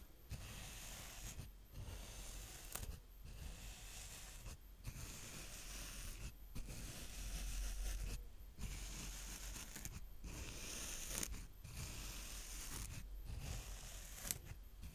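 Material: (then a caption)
Sand. A small green plastic rake is drawn through a mound of brown kinetic sand in crosshatch lines, making steady, soft, grainy scraping strokes. The strokes are broken by brief pauses, with a bright hiss over a low rumble.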